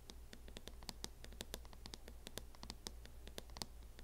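Fingernails scratch and tap along the front edge of a mint matte plastic hard-shell case on a closed laptop. Quick, dry, clicky taps with bright high edges come in a rapid uneven stream over soft scratching. A steady low hum sits underneath at a quiet level.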